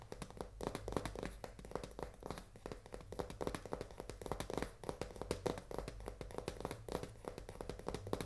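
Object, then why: Cardboard pasta box. Long fingernails tap rapidly on the front face and edge of a full cardboard pasta box held horizontally. The result is a quick, continuous run of short, dry, hollow clicks with little high-frequency content, each dying away almost at once.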